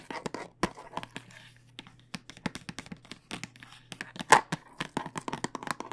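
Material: Plastic.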